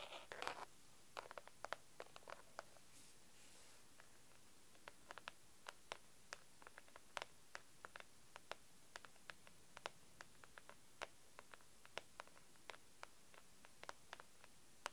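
Long pink acrylic nails tap and scratch the top of a pink translucent plastic document folder, about A4 size and full of papers in sheet protectors, lying flat on a dark desk. A brief scratchy rustle opens the clip, then dozens of sharp, dry clicks with very short decay follow at an uneven pace. The sound is quiet overall with a bright ticking edge.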